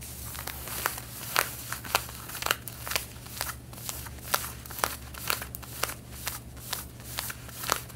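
Long red-painted nails scratch the side and back pockets of light blue denim jeans being worn, making a steady run of dry, crackling strokes with sharp, bright peaks. A low, constant hum sits underneath the scratching throughout.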